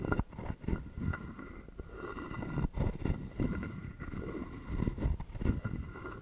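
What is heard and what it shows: A wooden stick is scraped along the ridged back of a hollow carved wooden frog guiro held in the hand. It makes a series of low, hollow, rasping croaks that sit mostly in the deep range with very little brightness. Each stroke ends quickly with only a brief ring.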